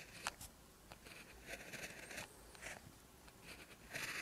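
An orange ballpoint pen tip writes Korean text on a lined paper sheet in close-up, with steady strokes. Soft, bright scratching bursts come and go as the tip drags across the paper surface, with short pauses between strokes.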